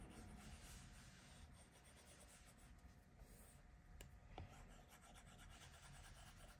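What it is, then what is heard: Stylus rubbing on a glass tablet screen. A plastic stylus tip rubs steadily across the flat glass touchscreen of an iPad Pro while filling in color. The sound is a quiet, low, continuous scratchy rubbing with faint irregular strokes and two brief sharper ticks near the middle.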